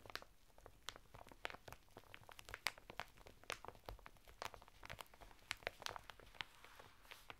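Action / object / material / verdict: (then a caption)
scrape / woven fibre bath mitt in a thin plastic packet / plastic film / none. Fingertips and nails scratch the textured surface of a flat bath mitt of coarse woven natural fibre, sealed in a thin printed plastic packet and lying sideways on a table. A quiet, rapid series of short, dry crinkling and crunching scratches is heard, bright and crackly, with no ring after each stroke.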